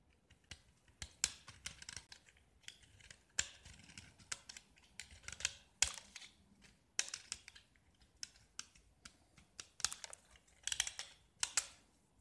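A metal utility knife blade scrapes the orange-painted, diamond-patterned face of a small solid gypsum block. Short, dry scratches and crisp clicks come in irregular bursts across the clip, bright and hissy with almost no low end, and each one stops quickly with no ring.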